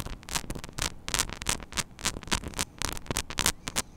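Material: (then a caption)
Metal mesh. Long nails scratch and tap on the hollow, small metal mesh grille of a mini microphone head. The result is a fast, irregular run of bright, crackly, static-like bursts, each with a boomy low thump underneath. Each burst stops almost at once, with no ring.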